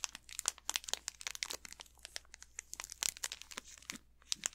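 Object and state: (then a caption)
Plastic candy bar wrapper. Fingertips and nails crinkle and scratch the plastic wrapper of an unopened Snickers candy bar, on the back side with the barcode. It makes a quiet, dense run of sharp, bright crackles and crinkles in irregular bursts, each dying away almost instantly. A faint steady low hum sits underneath.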